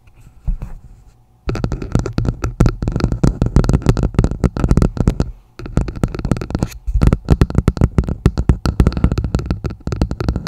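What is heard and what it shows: A red plastic martini glass is turned upside down over a microphone, and its hollow bowl is tapped and scratched with long acrylic nails using both hands. Dense, rapid taps produce deep, muffled thumps with brief scratchy textures. The clip opens with a short quiet stretch and pauses briefly around the midpoint.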